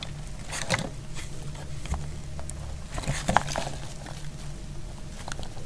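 A solid, dry yellow soap bar held in the hand is sliced with a metal utility blade. Short, crisp cutting clicks and light crumbly patter sound over a steady low hum, with a few sharper, brighter snaps standing out.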